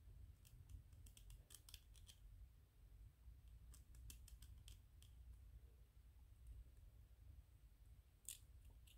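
A small, white, solid 3D-printed PLA plastic ghost figurine is held in the hands while fingertips and nails tap and scratch its surface. Quick, sharp, bright clicks and scrapes come in clusters over a steady low rumble.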